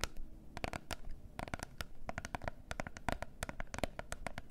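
Long nails tap and scratch the faces of a small closed gold cardboard face mask box. A rapid, uneven run of sharp, dry clicks with almost no ring rises over a soft scratchy rustle. A faint low rumble runs underneath.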